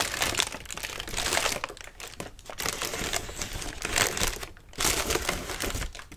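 Fingers grip, rub and scrunch the thin paper of a large, hollow, partly opened lime-green tissue paper lantern with a ribbed wire frame. The result is dense, bright crinkling and rustling that swells and fades in bursts over about six seconds.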